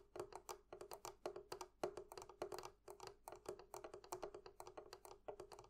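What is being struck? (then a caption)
Metal clasps on a wooden barrel chest. Long fingernails tap rapidly on two small metal clasps fastened to a hollow wooden barrel chest. The result is a quiet, irregular stream of short, clicky taps with a hollow mid-range ring around 360 Hz and bright, crisp tops that die away almost at once.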